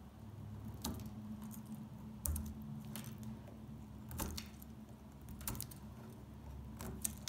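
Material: Soap.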